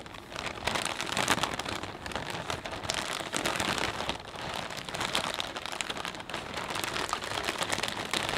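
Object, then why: Clear plastic bag of potato chips. Both hands press and squeeze a full, clear plastic bag of potato chips with the fingertips, crinkling the transparent plastic and crunching the chips inside. A dense, continuous crackle with bright, sharp crinkles runs throughout with little low end, swelling and easing slightly as the squeezing shifts.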